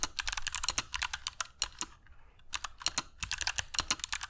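Fingertips of both hands type on a compact mechanical keyboard with grey PBT plastic keycaps and clicky Kailh Box Jade switches, resting on a cork desk mat. It makes rapid, sharp, bright clicks with very short ring and a light low thud under each press. There is a brief pause near the middle before typing resumes.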